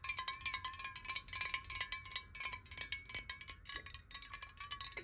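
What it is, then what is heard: Glass water bottle. Long nails tap quickly on a clear, hollow glass water bottle that is partly filled with water and held in both hands. About thirty-three bright, clicky taps come in an uneven, rapid patter, each giving a brief glassy ping with a steady ringing tone underneath that dies away almost at once.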